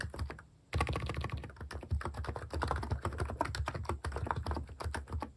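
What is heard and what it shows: Fingertips type fast on the plastic cat keycaps of a plastic mechanical keyboard while a hand sweeps over the keys. A few soft clicks trail off into a brief pause, then a dense, steady run of quick, deep clacks with short bright edges follows. Each press dies away almost instantly.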